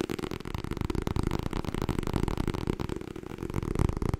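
Long nails tap quickly on the cover of a white softcover "Getting Things Done" paperback book. The result is a dense, steady patter of short, dull taps, weighted toward the low end with little brightness, and each tap dies away almost instantly.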